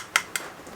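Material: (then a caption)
Plastic. Two light taps on a plastic waist-level camera viewfinder give short, bright clicks with almost no ring and no low end. The sound confirms it is mostly plastic and lightweight.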